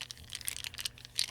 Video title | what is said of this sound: ASMR Gift Opening 💝 Books & Art Supplies! (Soft Spoken Only) | Almost sounds like plastic, but it's wax, right?